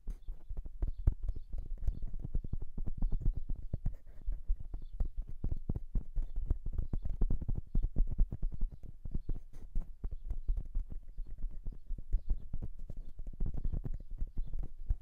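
Fingertips of both hands rapidly tap and drum on the metal capsule bodies of a silver metal dual-capsule microphone. A steady stream of short, deep, thumping taps with no ring forms a galloping, clip-clop-like rhythm throughout.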